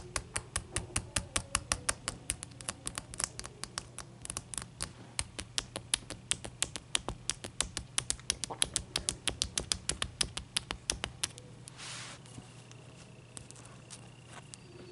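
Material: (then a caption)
Ice. Long nails and fingertips tap rapidly on a large, clear, solid ice cube resting on a towel, making dozens of sharp, bright clicks with almost no ring over a steady low hum. Around eleven seconds the fast tapping stops, followed by a brief soft scratchy swish and a few sparse light taps.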